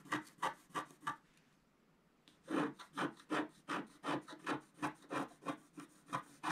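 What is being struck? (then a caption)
Coated scratch art paper card scraped with a wooden stylus. A wooden stylus scratches the lower area of a flat scratch art sheet with a black coating on paper, making 17 short, dry rasping strokes. Four strokes come first, then a brief pause, then a steady, quicker run of strokes with a bright, papery scrape.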